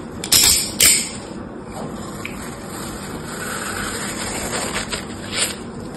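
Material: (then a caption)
Floral foam. A palm-sized rectangular block of dry, porous green floral foam is held in one hand while the metal blade of an orange utility knife scores its surface in a grid, scrapes it and cuts it. The crumbly foam crunches in bright, hissy bursts, with two loud sharp crunches near the start followed by a steadier scraping rasp and a few fainter crunches.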